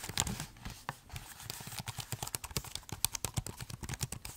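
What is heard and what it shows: Fingertips type and tap on the plastic keys of a silver laptop keyboard, with the laptop held tilted. A rapid, uneven run of short, dry clicks follows, each with a soft low thump and a bright tick that stops instantly with no ring.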